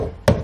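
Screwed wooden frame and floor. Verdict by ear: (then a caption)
Solid. A single knock on a wooden pond frame, freshly screwed to its floor, checking for looseness or rattles. It gives one dull, low thud with a short decay and no rattle, showing the frame is solid and not going anywhere.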